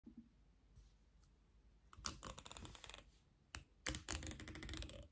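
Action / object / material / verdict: scrape / plastic comb teeth / plastic / none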